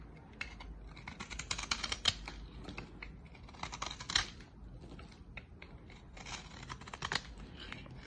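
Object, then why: Bar of soap cut with a knife blade. A utility-knife blade cuts flakes off the end of a solid, dry green soap bar. Quick, crisp scraping and cutting strokes come in irregular bursts with bright, crackly edges. Each flake snaps off sharply over a faint low background.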